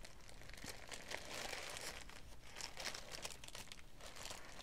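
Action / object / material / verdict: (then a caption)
scrape / thin tissue paper sheet / paper / none. Thin, light green tissue paper lying flat on a wooden table is handled and folded by both hands with long, dark-painted nails and fingertips. Continuous bright crinkling and rustling paper sounds play for the whole clip, with no clear pauses between them.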